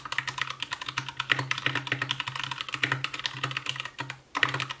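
An Anne Pro 2 60% mechanical keyboard with white plastic keycaps, a translucent case, RGB backlight and Gateron brown switches is typed on continuously with the fingertips of both hands. Rapid, short, bright clacks follow one another over a faint low hum, with a brief pause near the end before the typing resumes.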